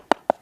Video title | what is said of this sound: Shalex - Stickit - A Drummy Tile Dilemma | it sounds a lot lower when you go over it so this section here is clearly not bonded